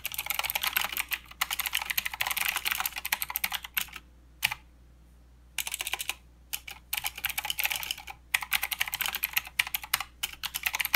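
Fingertips of both hands type continuously on a plastic mechanical keyboard with clicky blue switches and plastic keycaps. Rapid, bright, crisp clicks come in dense bursts, broken by brief pauses around the middle of the clip. Each click is sharp and dies away almost instantly, with almost no low-end body.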